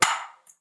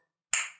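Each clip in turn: First: hollow floor tile. Second: solid, well-bonded floor tile.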